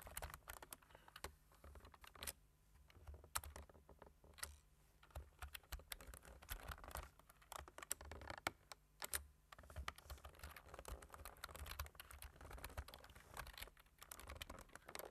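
Fingertips type steadily on a black-keyed computer keyboard with a white plastic frame and a hollow plastic body. The result is a dense stream of short, dry plastic key clicks and taps with bright, crisp edges, over a steady low hum.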